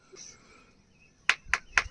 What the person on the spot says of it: दगडावर मारल्यावर कसं नॉर्मल आवाज येतोय एकदम रेग्युलर दगडासारखा